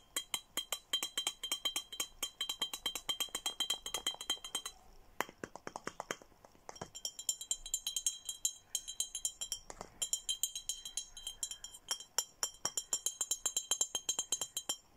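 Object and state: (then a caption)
Empty glass bottle tapped with nails. An empty, handheld clear glass Hello Kitty bottle with a red plastic cap and straw is tapped rapidly with fingernails. The quick, bright clinks carry a high glassy ring that fades almost at once, with a sparser stretch near the middle before the steady tapping resumes.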